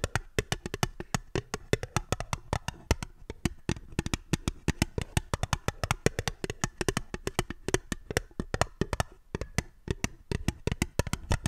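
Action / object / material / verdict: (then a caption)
tap / small fluted aluminium tin / aluminium / none. An empty, small, hollow, fluted aluminium tin with ribbed sides is held upside down and tapped with long fingernails. It produces a quick, steady stream of dozens of dry, clicky taps that stop almost instantly. Each tap has a low, hollow thump beneath a bright nail click.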